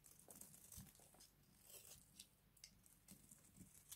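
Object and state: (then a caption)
Dry bar soap, crunchy. A hand-sized, cream-colored bar of dry soap is held in one hand and scraped with a small box-cutter blade, peeling off crunchy shavings. The quiet clip is a run of dry, crackly scrapes with bright, crisp edges and a faint low thud under some strokes, each one stopping quickly with little ring.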